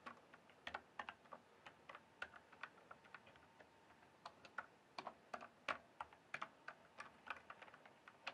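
Fingertips type and tap on the plastic keycaps of a full-size RGB-backlit mechanical gaming keyboard, giving a steady run of short, dry clicks and clacks. The sound is bright and crisp, with very little low end and quick decay. Keystrokes come in uneven bursts with small pauses between them.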